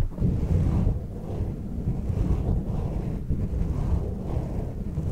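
Fingertips scratch and rub a black foam windscreen on a silver microphone, and a hand strokes its lower edge. The result is a steady, deep, muffled rumble, with almost all of its energy in the low range and nothing bright above it.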